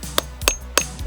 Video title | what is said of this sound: Ammolite Mining Reality TV Series Extended Cut Episode 2: Let's Get Crackin' | As soon as you hear that hollow sound, the whole thing is separating.